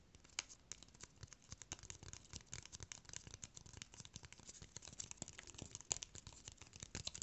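A small brown corrugated cardboard rectangle held in the hands is tapped and scratched with fingernails. A steady stream of many quick, dry, bright taps and scratchy rasps sounds throughout, with very little low end and no ring after each touch.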